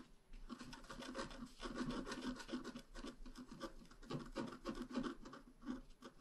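A pointed wooden stylus scratches across a flat, black-coated scratch art card about A4 in size. It makes a steady, soft rasping and rubbing sound with quick back-and-forth strokes that swell and fade, centred around a low-mid tone near 250 Hz with a dry, papery texture.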